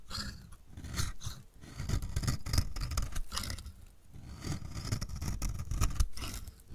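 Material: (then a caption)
Soap. A metal utility blade shaves fine flakes off the edge of a solid, dry, purple striped bar of soap held in the hand, in repeated strokes. Each stroke makes a dry, crumbly scraping rasp with a low rumble and bright crackle, swelling and fading as the strokes continue.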